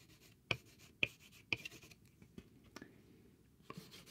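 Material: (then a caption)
Cardboard. A small, thin, flat grey cardboard sheet covered in chalk scribbles is held in the hand while its surface is scratched and rubbed. Three sharp, bright, dry scratches stand out early, followed by softer, scattered scrapes and faint rubbing. The sound is quiet, with almost no ring after each stroke.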